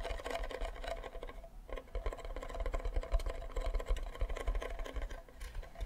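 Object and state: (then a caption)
Wooden ukulele back. Fingernails scratch and fingertips tap the back and side of a hollow wooden ukulele body with a flower sticker on it. The result is a quick, continuous patter of soft, dull knocks with a deep hollow thump beneath a light scratchy texture. Each tap dies away almost instantly.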